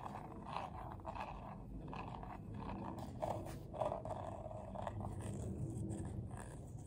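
Short nails scratch and tap along the ridged outer wall of a medium, hollow, empty bowl of coiled colorful paper held tilted. The result is a steady, low, rough scraping texture with soft papery taps and brief louder rasps.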